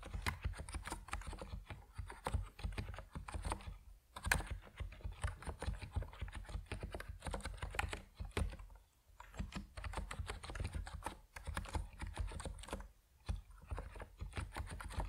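Fingertips type steadily on an Epomaker NiZ Plum Atom 68, a compact plastic mechanical keyboard with white and purple PBT keycaps. The keystrokes come as a dense stream of short, deep, muted clacks with little bright click. Brief pauses fall around 4, 9 and 13 seconds.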